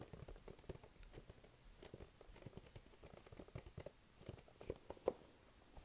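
Fingertips tap and stick-pull on the front face of a hollow, glossy pink printed cardboard box held in both hands. The result is a quiet, continuous patter of soft, dull taps and faint sticky peeling sounds with almost no ring. A few sharper, louder taps stand out near the end.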